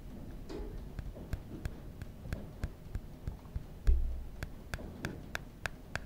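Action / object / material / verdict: tap / aluminum phone back / aluminum / none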